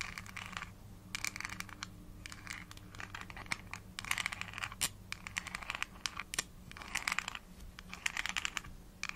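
Long nails tap and scratch the body and pink plastic cap of a small, hollow, translucent plastic vitamin gummy bottle, apparently holding gummies. Rapid bursts of bright, dry clicks and crisp scratchy rustling come and go over a faint low hum, with each tap dying away almost instantly.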